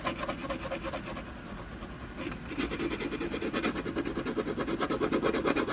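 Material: Canvas.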